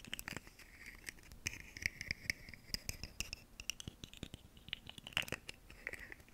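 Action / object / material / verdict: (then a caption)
scrape / segmented hollow plastic fidget toy / plastic / none. A ribbed, segmented purple plastic fidget slug toy, about hand length with hollow segments, is held up close to the microphone and scratched and tapped along its ridges with long nails. Quick, dry clicks and raspy scratches patter irregularly with almost no ring, bright and concentrated in a hollow band around 2–3 kHz. Occasional sharper taps stand out from the steady crackle.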